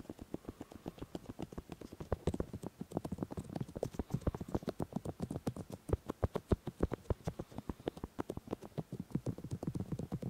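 Fingertips of one hand repeatedly rub and touch the left silicone ear of a 3Dio binaural microphone. The result is a rapid, uneven stream of dozens of soft, dry, low thumps and muffled taps with brief bright clicking edges, each dying away instantly.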